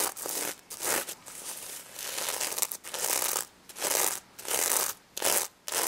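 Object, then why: Sequin-covered plush toy. A stuffed pig toy covered in plastic sequins is brushed by a hand while long nails scratch across the sequins. Bursts of bright, hissy scratching and rustling come in uneven strokes with short quiet gaps between them.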